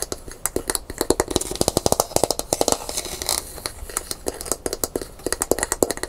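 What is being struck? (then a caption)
Gourd maraca with smooth handle. Long pink nails scratch and tap quickly along the smooth handle of a brown painted gourd maraca held by its hollow body. The result is a rapid, irregular stream of short, dry clicks with a bright edge, a slight hollow mid-range tone, and soft scratchy rustling in between.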